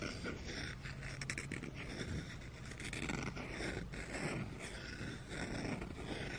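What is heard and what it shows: Fingertips and nails scratch the bowl of a light, solid wooden spoon resting on carpet. The result is a steady, quiet, dry scratching and rustling with brief scrapes and a soft low undertone, and no ringing.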